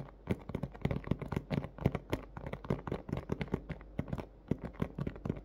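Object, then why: Clear plastic clamshell toy package. Fingernails and fingertips from both hands tap quickly and irregularly on a large, hollow, thin clear plastic clamshell dome of a blister toy package holding a pink plush toy. The taps are soft, dull and low, with quick clicks that die away almost instantly and little brightness.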